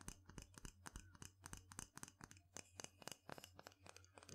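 A small, light wooden mortar bowl, hollow and apparently empty, is struck and tapped with its wooden pestle. About 28 short, dry wooden knocks come in a quick, uneven rhythm, each dying away almost at once with a hollow low thump under the click.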